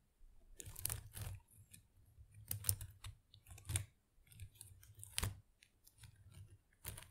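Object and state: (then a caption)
Artificial plastic plant leaves. Long acrylic nails scratch and flutter through the small plastic leaves of an artificial potted plant. The result is a quiet series of crisp, crackling rustles with bright, papery edges over soft low thumps, arriving in uneven bursts that stop almost instantly between strokes.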